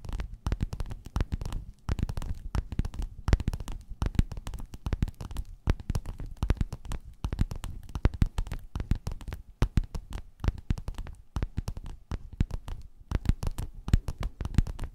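Long nails scratch and tap a flat, padded, gold, quilted metallic faux-leather cover. Dense, rapid, crackly taps and scrapes run continuously for fifteen seconds. The sound is mostly low, soft thuds with very short decay and only faint brighter edges.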